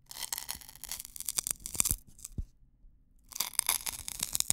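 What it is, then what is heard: Dry wheat straw rubbed and pinched. Fingertips rub and pinch along a single long, thin, hollow, dry natural wheat-stalk drinking straw held in both hands close to the mic. Dense, bright crunchy crackling and splitting sounds fill the first two seconds, then thin to a few sharp snaps and a dull low knock. After a short silence, the crackling resumes to the end.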